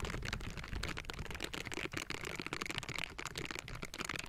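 Silicone bristle gloves scratch across the metal mesh grille of a Blue Yeti microphone, fingers tapping and raking over it. The result is a dense, continuous crackle of scraping and tapping, with bright rasp and a low rumbling body, and no ring after each stroke.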